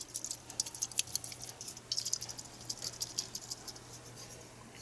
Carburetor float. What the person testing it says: this one here is taking on fuel if I shake it you can hear it